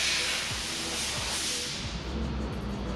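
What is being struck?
Nothing is struck.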